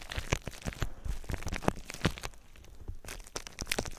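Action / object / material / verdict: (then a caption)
scrape / plastic bubble wrap / plastic / none. Clear plastic bubble wrap laid over the microphone is popped and crunched with fingers. Sharp, snapping pops burst out irregularly over a steady crinkling crackle. Each pop is dry and instant, with a heavy low thump from being so close to the microphone.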